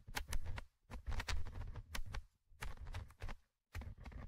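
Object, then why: Metal mesh microphone grille of a handheld recorder. A thin orange stick held in fingers scratches the small metal mesh microphone grille of a handheld Tascam recorder. It produces bursts of close, muffled low scraping and rumbling, dotted with short, sharp, bright ticks, separated by brief silences.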